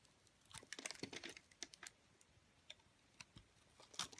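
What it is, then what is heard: Soap bar being carved. A solid white soap bar with a green-speckled rim is held in the hand while a metal cutter blade carves and scrapes shavings off it. Quiet, crisp, bright crackling scrapes and ticks come in short bursts, with brief pauses between cuts.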